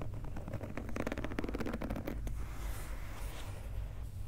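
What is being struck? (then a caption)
Rubber sneaker outsole. Fingernails scratch and tap across the textured, translucent pink rubber outsole of a Nike Dunk sneaker lying on its side. A quick run of dry, clicking taps and scrapes fills the first half, then gives way to a softer, steady scratching over a low rumble.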